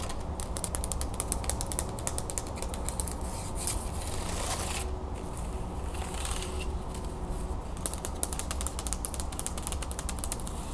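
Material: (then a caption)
Wood. A hand-sized wooden folding fan with thin, perforated wooden slats is opened, folded and scratched by long nails and fingertips. The result is a dense run of light, hollow, ratchet-like clicks and bright scratching over a steady low hum. A brief smoother, quieter stretch falls near the middle before the rapid clicking resumes.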